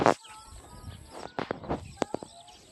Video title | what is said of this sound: Manguha Ng pakwan sa bukid | hilaw pa 'to, no. Matigas pa eh.